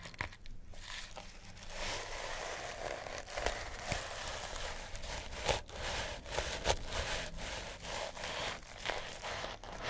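A sisal rope wrapped cat toy is held in the hand and scratched with long nails. This gives a steady, dry, fibrous scratching and crackling with a bright hiss. Sharper rasping bursts stand out now and then over the continuous rustle.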